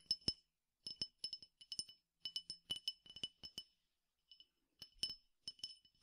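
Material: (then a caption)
Glass. A clear glass tumbler partly filled with peppercorns is tapped on its side and rim with fingertips and nails. About 22 quick, bright clinks come in irregular bursts, each dying away almost at once with a faint rattle of the grains.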